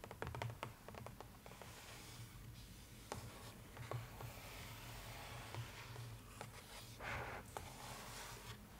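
Long nails tap and scratch across a large, flat cardboard box lid printed in a newspaper pattern. Sharp, quick clicks are scattered over soft, bright scratching, with a steady low hum underneath throughout.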